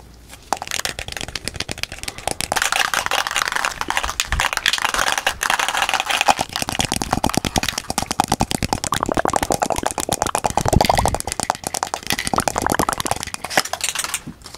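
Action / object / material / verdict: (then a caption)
tap / metal aerosol spray can / metal / none. A white and red metal aerosol varnish spray can, hollow and pressurized, is held in the hands close to the microphone and rapidly tapped and rubbed with fingertips and nails. A dense, nonstop stream of crisp, dry clicks and crinkly scratches runs for about fourteen seconds, each tap dying away almost at once, with brighter, louder bursts midway through.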